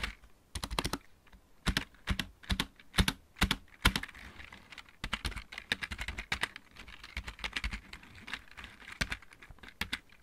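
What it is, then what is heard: Plastic mechanical keyboard. Fingertips of both hands type on a backlit plastic computer keyboard with mechanical keys. Short, sharp clacks come in uneven clusters, each with a low thump and a bright click that dies away almost at once. Louder bursts in the first four seconds give way to steadier, softer keystrokes.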